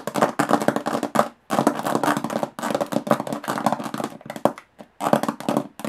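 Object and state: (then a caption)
Aluminum case tapped with fingernails. Long fingernails tap rapidly on the textured metal lid of a small, hollow aluminum briefcase. Quick bursts of crisp, clicky taps carry a hollow mid-pitched tone and die away almost at once, with brief silent pauses between bursts.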